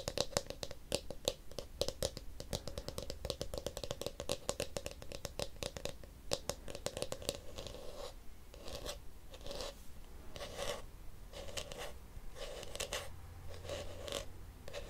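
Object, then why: Plastic detangling hairbrush. A small blue hollow plastic detangling hairbrush is held near the mic while its back is tapped and scratched with fingernails. Quick, dense clicks and bright scratches fill the first half, each carrying a hollow plastic resonance around 566 Hz. In the second half they thin into separate bursts of scratching with short gaps between them.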